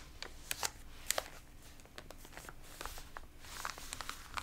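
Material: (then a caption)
Paper. Fingertips and palms of both hands rub and press the wrinkled pages of an open, water-damaged glossy paper magazine, then turn one page over. The result is a string of short, bright crinkles and crackles over a low, steady background, with a louder rustle near the end as the page turns.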